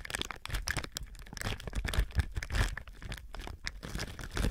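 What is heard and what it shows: A thin, clear plastic film or bag stretched over a binaural microphone is squeezed and rubbed with fingertips and palms. Close, continuous crinkling and crackling ride over heavy low rumbling thumps from the handling, with bright crackles throughout and a slight swell toward the end.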